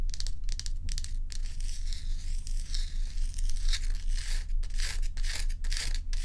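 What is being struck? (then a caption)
Ice block. Long nails scratch the frosted surface of a large, bowl-shaped solid ice block held on its side up close, producing bright, raspy scraping strokes in quick, fairly steady bursts. A constant low hum sits beneath the scratching throughout.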